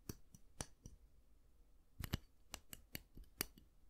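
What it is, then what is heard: Round hair brush with vented plastic barrel. Fingertips and nails scratch and flick the dense bristles of a handheld round styling brush and tap along its hollow vented barrel; the brush has a black-and-white plastic handle. Quiet, sharp, dry clicks and flicks come in a loose irregular series with gaps between, each one very short with bright high tops and no ring. The sound is soft and close with a low, faint background.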